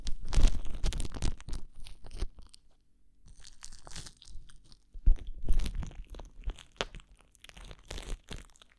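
Thin clear plastic cling wrap is crumpled against a microphone ear as fingertips squeeze and crinkle it. Irregular bursts of crisp, crunchy crackling come loud at first, fade into a near-silent pause, then return in softer waves with another strong burst midway.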